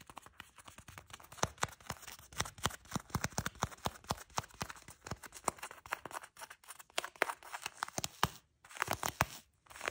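Long nude-polished nails scratch and tap on beige faux leather shorts, a soft, folded fabric. A dense run of crisp, quiet scratches and sharp little taps follows, with brief pauses near the end.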